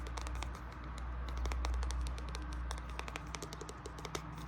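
A hardcover illustrated edition of Alice in Wonderland with red page edges is tapped with quick, light, irregular taps. Each tap is short and bright, over a steady low hum.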